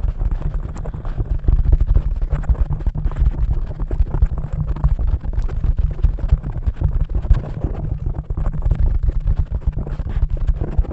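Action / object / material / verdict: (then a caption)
scrape / foam microphone windscreen / foam / none. Long-nailed fingers of both hands scratch and rub the surface of a black foam microphone windscreen, a soft porous cover. The result is a dense, continuous muffled rumble, almost entirely low in pitch, broken by many quick, soft scratching strokes that run together throughout.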